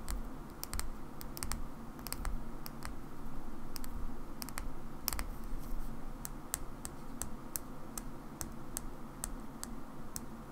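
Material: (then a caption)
Plastic. A small black plastic Xbox battery pack is tapped slowly with long nails on its side and end. Each tap is a short, sharp, bright click that dies away almost instantly, spaced unevenly over a steady low rumble.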